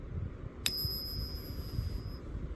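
A 90 percent silver Kennedy half dollar is flicked once, giving a sharp tick followed by a clear, high bell-like ring that sustains for over a second over a low background rumble. The coin rings true, as expected for real 90% silver.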